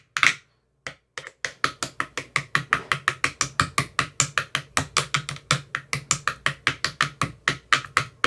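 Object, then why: Empty plastic ice cube tray. A thin metal rod with a white rounded tip taps inside the hollow cells of an empty, translucent frosted plastic ice cube tray with 15 compartments. After a loud first tap and a brief pause, it settles into a steady, fast run of short, dry, hollow clicks with a bright ring that die away almost at once.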